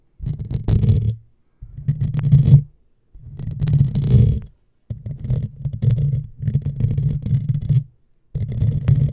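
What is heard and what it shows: Long fingernails scratch a hollow black metal mesh microphone grille, producing low, rumbling, scratchy bursts. The scraping comes in repeated passes separated by brief silences, each with a dense, gritty texture and faint bright crackle above.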